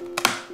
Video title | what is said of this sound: 我就是吃这玩意儿被举报的！ | 掰开的声音清脆又悦耳 就像掰断了一块巨大的薯片